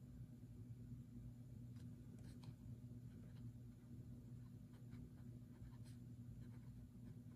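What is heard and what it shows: A fountain pen nib scratches across the handwritten page of an open paper notebook on a wooden table, while the other hand rests flat on the page and an untouched open printed book lies beside it. Faint, brief, bright scratches of the nib sit over a steady low hum and rumble that dominates the quiet clip.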